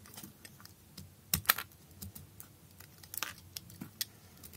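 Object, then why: Bar soap cut with a knife blade. A utility knife blade shaves thin slices from a solid blue bar soap with holes, held in the hand. A quiet series of short, crisp, bright scraping clicks follows, with a few louder snaps and almost no ring after each cut.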